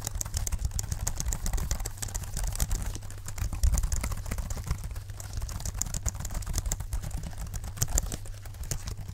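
A small, dark, hollow plastic folding keyboard is held up near the microphones while fingertips in black leather gloves tap its keys repeatedly, like typing. The result is a fast, continuous stream of short, dry plastic clicks with bright tips, over a steady low hum.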